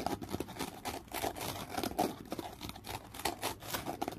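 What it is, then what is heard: Foam sanding sponge. Fingernails scratch the surface of a dark, gritty abrasive foam sanding sponge block held in the hand. The result is a quick, irregular run of dry, rasping scrapes, each a short broadband burst with a crisp, bright top that stops almost at once.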